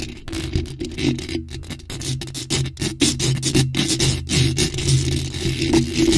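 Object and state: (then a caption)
Metal mesh microphone grille scratched and tapped. Long nails scratch and tap rapidly across a bare, hollow black metal mesh microphone grille with no cover. Bursts of bright, crackly scraping alternate with quick taps over a low, boomy rumble and a faint tonal ring near 360 Hz. Only brief silent gaps break the busy, irregular rhythm.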